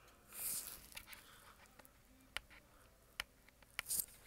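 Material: Plastic.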